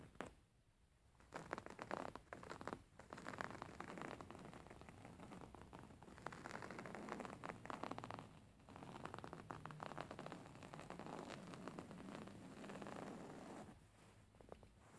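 A medium, soft beige linen-like throw pillow with a black line-square print lies flat and is scratched by the fingertips and short nails of both hands. The result is a dense, continuous run of rough, rustling scratches over the fabric, with brief pauses near the start, middle and end.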